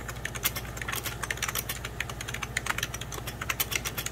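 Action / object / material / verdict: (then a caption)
tap / plastic computer keyboard / plastic / none. Fingertips of both hands type on a hollow, beige 1990s Packard Bell plastic computer keyboard in a quick, uneven stream of key taps. Each tap is a short, bright plastic click with almost no ring. A steady low hum sits underneath.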